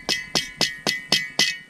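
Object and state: Solid, dry standing dead tree.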